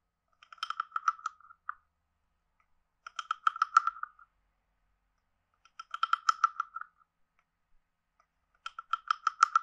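A hand-sized hollow carved wooden frog guiro is played with a wooden stick that is scraped along its ridges and tapped. Four separate bursts of quick, dry, croaking clicks are heard, each pitched around 1.3 kHz with faint bright overtones and almost no low end. Each burst lasts about a second and is followed by a short silence.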